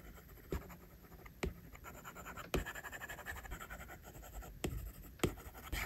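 A plastic stylus tip draws short, scratchy strokes across an iPad's glass screen while the other hand's fingertips rest on the glass. Soft, continuous scraping is broken by a few sharper, brief taps of the tip against the screen.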